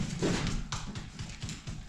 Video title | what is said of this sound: Removing plywood wall and bathroom. A discovery from the past and what's in a water heater? | sounds solid you hear the difference